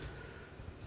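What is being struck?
Nothing is struck.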